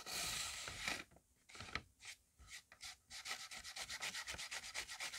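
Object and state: Paper rubbed on paper.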